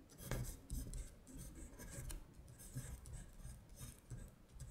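Long pointed nails scratch across a flat paper worksheet listing the months in Korean, making quiet, dry rasping strokes. Soft low bumps sit under the brief scratches, with faint bright hiss on top.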